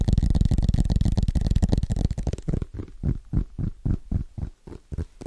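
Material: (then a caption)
Aluminum. Fingertips tap quickly on the metal back and edges of a thin aluminum-backed iPad, Apple logo showing, held in both hands. The taps are dull, low thumps: a dense, blurred run at first, then slower, more clearly separated knocks with very little ring.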